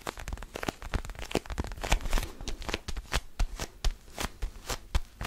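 Fingertips tap and scratch the textured rubber surface of an orange mini basketball with black seam lines, held in both hands close to the microphone. A rapid, uneven series of short, dry taps with a soft low thump lands over a continuous bright, crackly scratching, with each tap dying away almost instantly.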